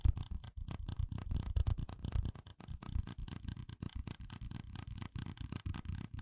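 A stack of small, hollow red plastic cups is tapped and scratched with fingertips and nails. The result is a quick, irregular run of dull, hollow, low-heavy taps that stop short, mixed with a dry scratchy rasp and faint bright edges.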